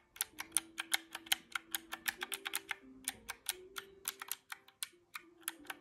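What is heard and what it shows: Fingertips press the round black keys of a small mint-green plastic calculator held in hand, making about 28 sharp, bright plastic clicks in an uneven typing rhythm. Faint low steady tones shift in pitch beneath the clicks.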